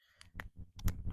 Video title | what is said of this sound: Replacing the PCV valve on 302 V8 Small Block Ford- 1968 Mustang | you can hear it just doesn't shake it as much